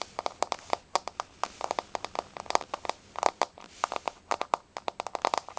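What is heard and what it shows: Long nails tap and scratch across a flat, solid wood-look laminate floor with a wood-grain surface. The result is a rapid, uneven run of short, dry clicks centered in the midrange with a bright edge and almost no low end. Each tap dies away almost instantly.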